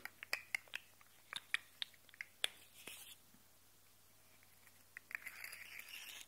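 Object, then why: Segmented plastic slug fidget toy. A rainbow segmented plastic slug fidget toy is held upright while fingertips and nails scratch and rub down its ridges and its segments are wiggled so they click. Sharp, bright plastic clicks come in a quick uneven series, then trail off into soft scraping. It ends with a brighter, hissy rasp of nails dragging along the ridges.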